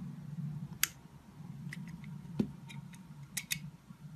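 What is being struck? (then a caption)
Bar of solid soap cut with a metal blade. A metal utility knife blade cuts slices from a solid blue, yellow and white soap bar held in the fingers, with other slices lying nearby. Sharp, bright crisp snaps and softer scraping ticks come at irregular intervals over a steady low rumble.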